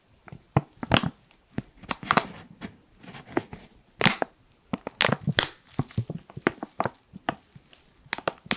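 Fingertips rub and crinkle the top seal area of a black foil-lined plastic coffee pouch held in front of a microphone. A rapid, uneven series of sharp, dry crinkles and crackles comes through, bright and crisp, with short bursts of heavier crumpling in between.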